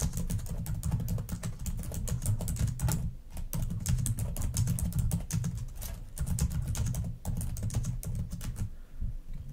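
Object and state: Plastic laptop keyboard.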